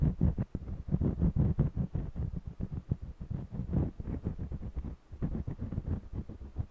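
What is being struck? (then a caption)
Stretched cotton canvas with wax crayon. An orange jumbo wax crayon scratches quickly back and forth across the lower part of a small stretched cotton canvas held steady by one hand. The strokes come as a dense run of dull, low, thumping rubs with a muffled, drum-like resonance from the canvas and almost no bright edge.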